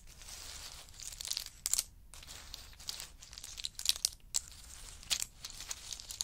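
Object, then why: Pistachio nuts in hard shells. Two small wooden spoons stir and scoop a heap of pistachios in hard shells resting on a fur mat. The result is a steady, bright rattling and crinkling clatter of shells, broken by sharp, louder clicks as the nuts knock together.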